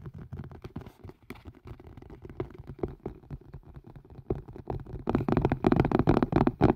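A green and white collapsible colander with a hard plastic rim and a silicone body is held upside down and hollow over the microphone and tapped fast with fingertips and nails. The result is a dense, irregular patter of muffled, hollow taps with a low-mid thump. The tapping grows louder and busier for the last second and a half.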